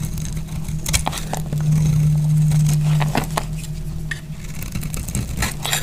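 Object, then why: Bar of soap cut with a knife blade. A solid oval red-and-white striped dry soap bar, held in the hand, is cut and scraped with a utility knife blade. Quick, crunchy crackling scrapes repeat over a steady low hum, breaking the soap into crunchy flakes.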